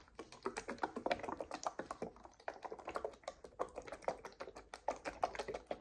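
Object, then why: Paperboard drink carton. Long nails tap quickly on the faces of a paperboard coconut water carton held in both hands. The result is a quiet, steady run of dry, hollow clicks with a mid-range knock and almost no ring or low end.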